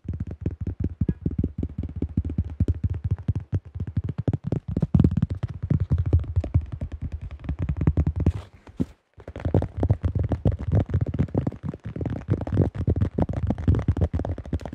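Fingertips tap rapidly on the top and underside of a thin-shelled tan plastic disc golf disc with a blue rim, held close to the microphone. The result is a dense stream of short, dull, low plastic thuds with almost no ring, broken by a brief silent pause just before the nine-second mark.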